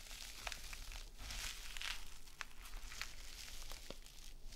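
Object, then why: Metal mesh scouring pad. A small gold metallic mesh scouring pad is bent and squeezed, then scratched with long nails on a sequin mat. It gives bright, crackly crinkling and sharp scratchy bursts over a steady low hum. The sound stays quiet and close throughout.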